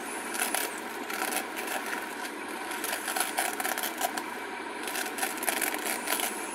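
A flat purple glitter craft foam sheet is held in both hands while long acrylic nails scratch and tap its glittery surface. The result is a steady, crisp, bright scratching texture with no low end, broken by light, short-lived tapping peaks.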